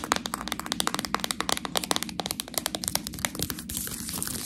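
Long nails scratch across the front and label of a full plastic package of fresh Priano cheese tortellini, making a rapid series of sharp, bright crinkling clicks. Near the end, the scratching turns into a steadier, hissing rustle.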